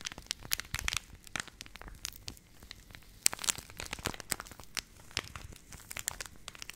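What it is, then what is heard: Plastic pouch, crinkled. A purple Nestle Everyday laminated plastic milk powder pouch is held in both hands and crinkled and squeezed with fingertips and long nails close to the mic. It produces a dense, irregular run of sharp, bright crackles and crinkles with very little low end. Each snap dies away almost instantly, with louder bursts around the middle of the clip.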